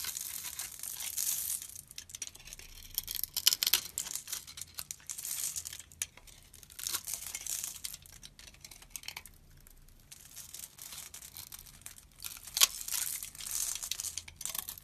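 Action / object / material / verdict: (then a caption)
scrape / translucent soap bar / soap / none. A blade carves a solid, hand-size translucent amber-yellow soap bar into small cubes and scrapes them off. The result is a steady run of bright, crisp cutting, crackling and scraping sounds with short, dry clicks and no low-end body.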